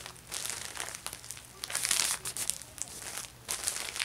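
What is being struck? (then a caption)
Thin plastic shopping bag. A thin, empty orange plastic Ulta Beauty shopping bag is pressed flat with fingertips, then picked up, held and crinkled in both hands. The result is bright, crisp crinkling and rustling in uneven bursts with almost no low end, swelling loudest midway through before settling into softer crackles.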